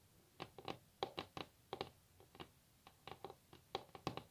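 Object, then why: Varnished wooden tabletop. Long natural fingernails tap on a solid varnished wooden tabletop, making about seventeen quick, dry clicks in an uneven, pattering rhythm. Each tap has a woody midrange tone with a bright edge and dies away almost instantly, at a quiet level.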